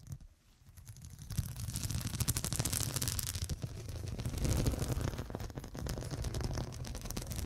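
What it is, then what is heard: Glass-studded pillow. Long black acrylic nails scratch and tap across a medium cushion covered in a grid of small faceted glass studs over a soft filled body. After a quiet start, a dense, irregular stream of quick clicky taps and scratchy rasps rises from about 1.3 seconds, full of low thumpy body beneath bright edges, and continues with shifting loudness to the end.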